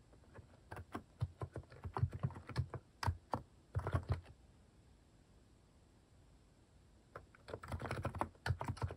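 Fingertips type fast on a Hanmumu plastic mechanical keyboard with cat-shaped plastic keycaps, producing dense, muted key presses with a deep, short thock and little brightness. Typing comes in quick bursts, stops for about three seconds of near silence, then resumes in another rapid flurry.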